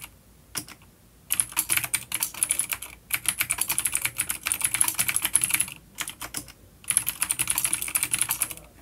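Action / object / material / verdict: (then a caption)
tap / plastic mechanical keyboard with clicky switches / plastic / none. Fingertips of both hands type on a full-size dark plastic vintage mechanical keyboard with clicky blue switches and grey keycaps, resting on a wooden desk. Bright, crisp clicks come in fast bursts separated by brief pauses, each keystroke sharp and dying away almost instantly.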